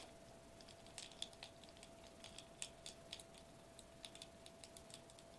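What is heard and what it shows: Fingertips tap rapidly on the bubble surface of a foil bubble wrap sheet, first held upright and then laid flat on a table. The result is a quiet, irregular patter of short, crisp, bright ticks that die away almost instantly, over a faint steady low hum.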